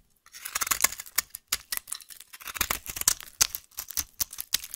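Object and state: Bar soap being carved.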